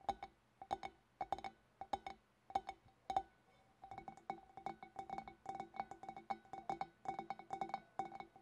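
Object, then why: Large glass bowl tapped with fingernails. Long black-polished nails on both hands tap around the neck and scalloped rim of a large, empty, clear glass fish bowl. Short, bright glassy clinks ring at a steady mid-pitched tone. Spaced-out taps give way after a brief pause to quicker, denser tapping.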